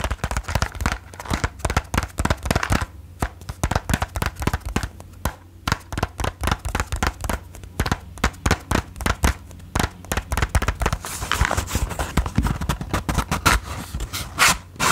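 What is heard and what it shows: Long nails tap rapidly on the face of a closed cardboard matchbox and then on its striker side. The result is a dense run of short, dry clicks with a low thump beneath them. A bright scratchy rasp rises toward the end.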